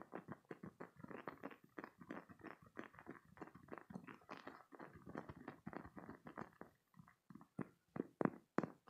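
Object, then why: Hollow spiky silicone toy. A green, hollow, spiky silicone squeeze toy is squeezed and rubbed with fingertips and short nails. It gives a quick, uneven run of soft, dull squishes and thumps, with a few sharper snaps near the end.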